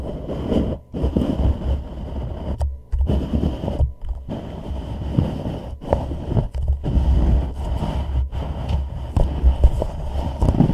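Fingertips and short nails tap and scratch the side of a hollow white plastic reusable cup set upside down over a microphone. The result is a dense, boomy low rumble of scratching and dull taps, with a faint bright hiss and a few brief pauses.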